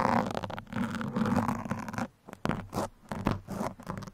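Steel pins poke and scratch the top and sides of a black foam microphone windscreen, making close, dry scratching and crunching sounds. Most of the sound sits low, with a steady low hum around 105 Hz beneath the scratches. After about 2 seconds it turns to sparser, separate pokes with short quiet gaps between them.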